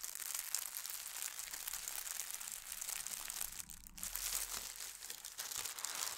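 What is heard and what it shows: Fingertips and long nails press and slide over a thin holly-print tissue paper sheet lying on a table, crinkling the paper. A steady, bright, crackly rustle with almost no low end runs throughout, dipping briefly just before the four-second mark before picking back up.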